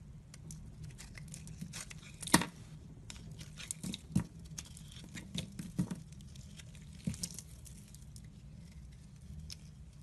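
A hand with red nails holds a solid, rounded white soap bar and shaves it with a utility knife, so flakes fall off. Soft, crinkly scraping and patter run throughout, broken by a few sharper, louder scrapes over a low steady background hum.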